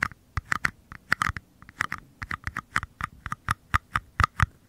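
Fingernails tap and scratch the flat paper bottoms of two identical small, empty paper cups held upside down close to the microphones. There are 23 quick, dry taps with a hollow papery tone near 1.2 kHz and a soft low thump under each. The pattern is irregular, and each tap dies away almost instantly.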